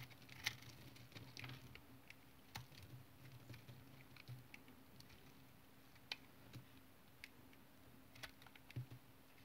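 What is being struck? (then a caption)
Tar soap bar scraped with a knife blade. A hand-sized, solid brown bar of tar soap, held in one hand, is shaved and scraped with the blade of a yellow utility knife over a pile of soap shavings. The sound is a quiet run of short, dry, bright scraping ticks and crisp pattering cuts over a low, steady hum. The knife cuts sharper now and then, and each scrape stops almost at once.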